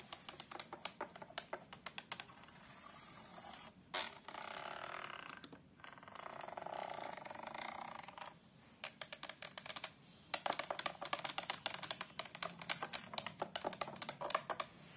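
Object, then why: Glass-fronted picture frame. Long acrylic nails tap and scratch the glass of a large glass-fronted picture frame near its border. Rapid bursts of bright, crisp clicks alternate with stretches of steady, hissy scratching across the glass. The clip ends in a denser run of quick, sharp taps.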